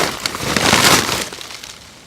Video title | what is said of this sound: 2015.E2 - trellises, cabbages, collards - My Plot Of Plenty | I'll shake it and you'll hear the seeds. Kind of like a rain-making musical instrument.